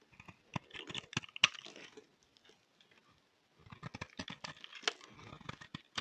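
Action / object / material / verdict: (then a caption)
scrape / bar of soap shaved with a blade / soap / none. A solid pink striped bar of soap is held in the hand and shaved with a utility knife blade. Quick, crisp scraping and cutting strokes sound bright and dry, with almost no low end. They pause briefly in the middle and then resume in a dense run of shaving sounds.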